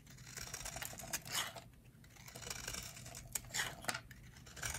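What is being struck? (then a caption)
Bar of soap carved with a metal blade. A metal utility blade carves flakes off the edge of a solid, hand-sized, rectangular bar of dry yellow soap held in the hands. The result is a quiet series of crisp, dry, bright scraping strokes with short flaky crackles and almost no ring.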